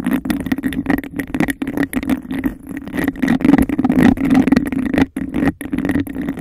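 Long decorated nails tap and scratch quickly on the sides of an empty, hollow cup of embossed glass held over a microphone. The result is a dense, uneven stream of rapid clicks and rasping scrapes over a steady hollow resonance, with a faint bright ring and brief gaps of near silence.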